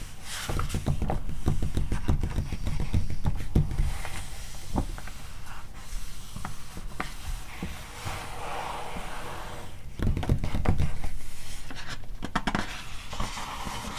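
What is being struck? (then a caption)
Glossy coated-paper magazine pages. Long nails scratch and tap the coated pages of a glossy magazine lying open to an illustrated spread. The result is a steady stream of dry scratching and quick soft taps, growing denser and louder in bursts near the start and again toward the end.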